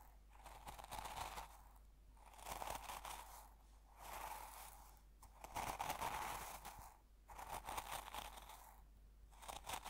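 A fingertip presses and pokes into coarse salt crystals in a small open glass jar held in the other hand, crunching them. Gritty, crackling crunches come in waves, with a grainy texture centered in the low-mid range and a bright hiss on top.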